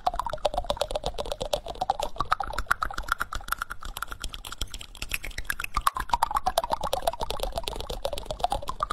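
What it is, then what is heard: Wooden spoon tapped and scratched with fingernails. Fingertips and short nails tap and scratch the back of a solid, reddish-brown wooden spoon bowl held close to the microphone. Dense, fast, irregular clicks and dry scratches run throughout, over a resonant tone that slowly rises and falls around 600 Hz to 1.2 kHz.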